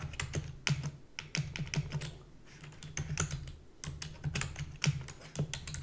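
Rapid typing with long fingernails and fingertips on a full-size black plastic keyboard with a hollow body. A fast, uneven stream of sharp, bright clicks rides over a low, hollow thud from the keys, with each tap dying away almost at once.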